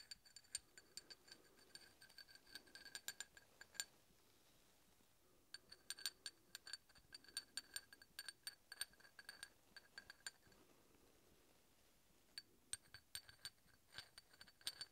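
A large solid steel hex bolt, held vertically, has its threads scratched and tapped with a steel drill bit. Three bursts of bright, glassy metal clinks and ticks with a very short high ring are separated by quiet pauses, over a faint low scraping underneath.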